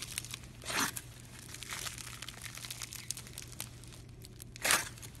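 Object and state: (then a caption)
Floam slime (styrofoam bead slime) being squeezed. A palm-sized lump of pink floam, a slime dense with small styrofoam beads, is held in one hand by a window and squeezed, folded and pressed with the fingers. It makes a continuous run of bright, crunchy crinkling and crackling, with two louder bursts near the start and end over a faint low hum.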